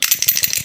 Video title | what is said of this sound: How to replace rear shock component (Saving thousands) | I shake it. You hear the rattling.